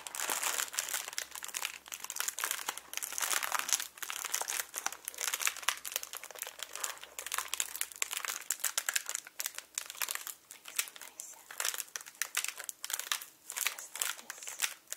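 A small, hollow, air-filled clear plastic packing air pillow with blue print is held in both hands and crinkled and squeezed with the fingertips. The result is a steady stream of bright, crackly crinkles in dense bursts with very short, dry decays. A faint low hum sits underneath for roughly the first half.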